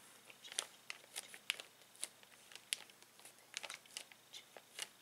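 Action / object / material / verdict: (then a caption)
scrape / plastic zip bag holding plastic toys / plastic / none. Fingertips and a palm rub and press a clear plastic zip bag full of colorful plastic toys resting on a table. The result is a quiet run of sharp, bright, dry crinkles and crackles, each dying away almost instantly, with no low end.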